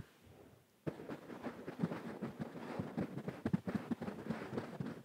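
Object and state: Velvet cushion being scratched.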